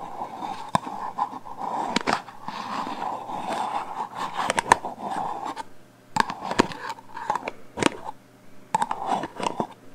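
A black metal aerosol hairspray can with a plastic cap, about 25 cm long, hollow and pressurized, is held horizontally in both hands and tapped and scratched along its body with long painted fingernails. Sharp, dry clicks and taps cut through a steady scratchy rasp centered around 940 Hz, with a bright edge, with quieter gaps between bursts of scratching.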